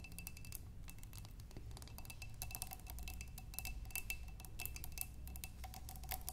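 Long nails tap quickly on a clear glass vase holding water and tulip stems, after a hand comes close at the start. The taps are rapid, bright, clicky ticks that stop almost at once, over a faint steady ring and a low, soft rumble.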